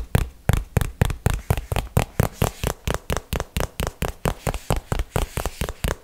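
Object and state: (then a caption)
Hollow cardboard box. A small, hollow printed cardboard box held close to the microphone is tapped with fingertips and nails. About 27 quick, dull, low-heavy taps fall in a steady but slightly uneven rhythm, each stopping almost at once with no ring.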